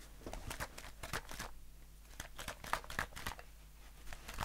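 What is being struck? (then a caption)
Aluminium aerosol can. A hollow, pressurized, blue-printed aluminium aerosol can of shaving foam, about 20 cm long, is held in one hand and tapped and scratched with short fingernails and fingertips. Quick, irregular taps and bright, crinkly scratches die away almost instantly, with a faint metallic tone in the mid range. A steady low hum sits underneath.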